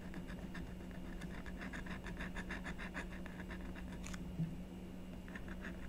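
A blue stylus scratches and etches the coating of a black-coated scratch-art sheet on a card backing while the other hand holds the sheet down. It makes a quiet run of short, dry scratching strokes with a bright, gritty edge. A steady low hum sits underneath throughout.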